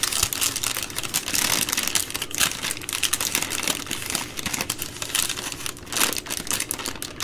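A bundle of three full, soft plastic-wrapped baby wipe packs from a multipack is held in the hands while long nails tap and squeeze the crinkly plastic. Dense, bright crinkling and rustling runs throughout, mixed with quick light clicking taps, and swells and eases as the packs are pressed.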